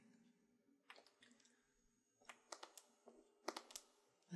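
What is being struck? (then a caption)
Clear plastic stacking storage box. Long painted nails tap the plastic side and top of a medium, hollow, multi-tier clear plastic stacking storage box whose drawers are partly filled with craft supplies such as sequins and felt. The result is about 11 quiet, sharp, irregular clicks that die away almost instantly over a faint low background hum.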